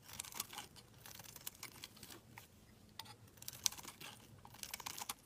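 A solid black bar of soap, held in the hand, is carved and scraped with a utility knife blade, peeling off thin shavings. The result is quiet, bright, crisp scraping and crackling strokes in irregular bursts, with little low end.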